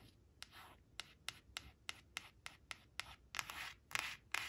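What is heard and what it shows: Long acrylic nails scratch and rub rapidly across the glossy face of a thin, flat laminated cardboard flash card with leaves on it, resting on a woven cloth. Thirteen sharp, bright nail clicks come at uneven intervals, joined by soft, hissy scraping strokes. The result is quiet, crisp and high-pitched, with almost no low end.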